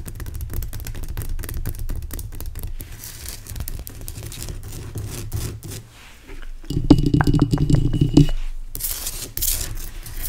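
Fingernails scratch and tap the top and sides of a large, pale rock salt lamp made of solid, rough crystal. The result is a dense run of dry, low-heavy scraping and crinkly tearing sounds. Around the seventh and eighth seconds there is a louder burst of brighter taps with a slight ring.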